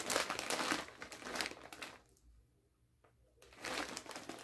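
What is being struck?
Metallized plastic chip bag.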